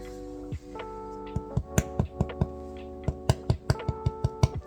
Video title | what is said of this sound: 🍞Let's make bread... AGAIN! ✨ - Updated Bread Making Journey | It's not supposed to sound like rock hard, but it's not supposed to sound completely empty either.